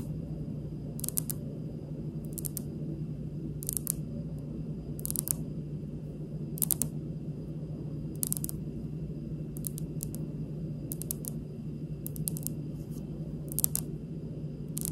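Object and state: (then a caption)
Polished stone countertop. Long pink acrylic nail tips tap quickly on a large, solid, polished, speckled granite stone countertop, giving short, sharp, bright clicks in small bursts spread across the clip. The clicks die away instantly over a steady low background hum.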